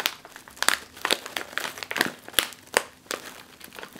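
A full, sealed, foil-lined plastic chip bag is pressed on top with a palm and scratched with long nails. It makes dry, bright crinkling with irregular sharp crackles and scratchy rustles, and almost no low end.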